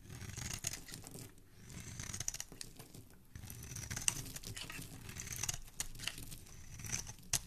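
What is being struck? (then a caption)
Solid bar soap scraped with a metal blade. A palm-sized, hand-held solid pink bar of soap is scraped and shaved with a dark metal carving blade, and shavings and flakes fall off. The cutting makes a steady, crinkly, tearing scrape, bright and hissy on top with a soft low rustle beneath. Sharp little clicks and snaps punctuate it, the loudest near the end.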